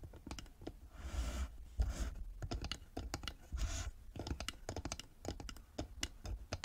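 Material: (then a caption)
Wood. Long nails tap quickly on the sides and lid of a small hollow carved wooden box with a metal emblem on the lid and a metal clasp, held on a table. The result is a steady stream of short, dry clicks with a dull low body, broken by a few longer, brighter scratchy brushing passes across the surface.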